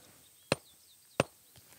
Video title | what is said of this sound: Three Generations of Volcanoes at Mount Rainier - Nick on the Rocks | The fact that this magma, whether it's a blob of magma or a dike or a sill, it sounds dull.